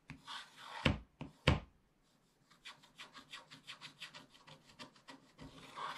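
A wooden stylus scratches long back-and-forth strokes across the top area of a black coated scratch-art paper page in a spiral book. Dry, bright rasping scrapes open the clip with two sharper, louder strokes, then a brief silence. A quick, fairly steady run of short scratching strokes follows and ends with a longer scrape.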